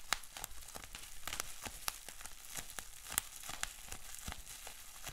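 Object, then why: Plastic bubble wrap sheet. A rolled sheet of clear plastic bubble wrap with small bubbles is held in both hands while fingers twist and crinkle it. The result is a steady, quiet, bright crinkling hiss broken by many sharp, short clicks and snaps that die away almost at once.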